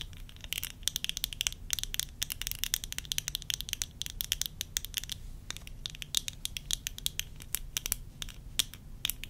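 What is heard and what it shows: Long fingernails tap and scratch the side of the rim and the lens of worn tortoiseshell plastic eyeglasses. Dense, rapid clicks with a bright, crisp edge and almost no ring rise over a low, quiet rumble, forming a steady stream of sharp ticks.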